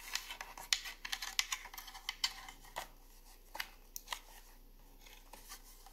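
Fingertips and long nails tap and scratch along the lid of a long, hollow wooden incense holder box with drilled holes, lying on a granite counter. A dense flurry of bright, dry clicks and scratchy rasps fills the first two and a half seconds, then thins to sparse, isolated taps. Each tap dies away almost instantly, with very little low end.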